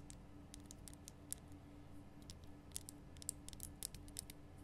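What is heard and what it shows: Long fingernails tap and click on the rough surface of a large, lit, pink Himalayan rock salt lamp of solid salt, held cupped in both hands. Quick, bright, dry clicks come in irregular clusters with almost no ring, over a steady low hum.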